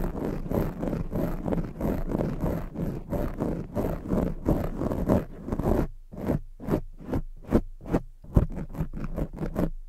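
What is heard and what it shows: Long jeweled fake nails scratch along the sides of a soft, porous black foam microphone windscreen. For about six seconds the scratching is fast and continuous, a dense low rumbling rasp with bright crackle, then it slows into separate, distinct strokes with short silences between them.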